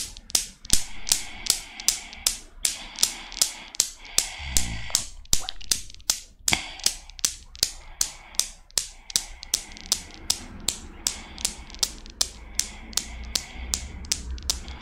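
Long nails hold and release the five solid chrome steel balls of a desktop Newton's cradle so they knock together. The result is a steady run of sharp, bright metallic clicks, about two to three per second, each dying away almost instantly. A faint low rumble sits underneath.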